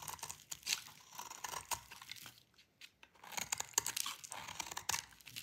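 A metal utility blade cuts through a solid bar of dry, cream-white soap, and crumbly flakes fall off. The result is a quiet, bright, dry crunching and crackling with short scraping bursts, broken by a brief near-silent pause midway before the crunching resumes.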